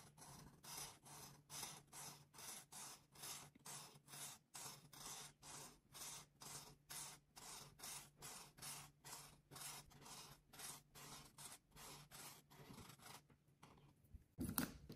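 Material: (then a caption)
Paper. A hand with long pink nails rubs a felt marker's tip across a thin white coloring book page lying flat, filling a circle with purple. About thirty quick, bright, scratchy strokes come in a steady rhythm, then thin out near the end before a brief louder scuff.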